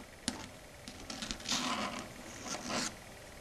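Long red stiletto nail tips tap rapidly on a flat, solid, dark grey chalkboard surface. A single sharp click is followed by a quick run of light, dry taps, then two longer bright, rasping bursts of clattering nail contact. The sound is thin and high, with little low end.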